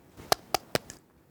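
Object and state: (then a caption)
Set hard fiberglass cast. Four quick taps on a set, hard blue fiberglass bandage cast on an arm, the last one softer. Each gives a sharp, dry, hollow knock centred around 700 Hz that stops almost instantly with no ring.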